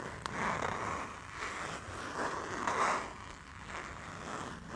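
A small, flat printed fabric pouch with a Barcelona picture and a zipper along the top is held in both hands while fingers pull the zipper open and closed. It makes a continuous rasping zip sound that swells and fades in waves, centered in the midrange with a bright edge, over a faint low rumble.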